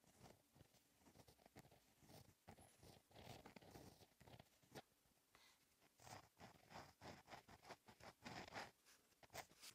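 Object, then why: Gel pen on a paper notebook page. A gel pen with a metal and plastic tip, held by the fingertips, writes cursive letters across a flat black lined notebook page in steady strokes. Each stroke makes a soft, dry scratching with bright, raspy edges. The quiet strokes come in short, uneven bursts throughout.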